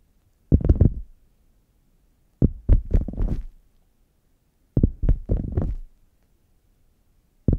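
Fingernails tap and scratch the padded top of a red faux leather zip hard case lying flat, hollow and closed. Four bursts of dull, low, thumping taps blend into soft scratching, with quick decay and quiet gaps between them; the last burst is cut off at the end.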